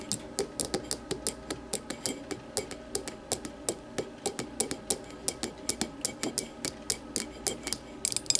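An empty clear glass tumbler sits upside down on a table and is tapped with the long matte nails of both hands. About 39 quick, bright clicks come in an uneven, rapid rhythm, each dying away almost at once over a faint glassy ring. A brief scratchy flurry of taps closes the clip.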